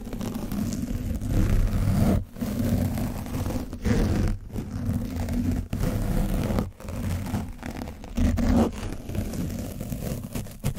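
A foam paint brush on a wooden handle is scraped across the top of an orange foam microphone windscreen coated with dried paint. The result is a dense, low, rumbling scrape and rustle, almost continuous, with a few brief dropouts between strokes.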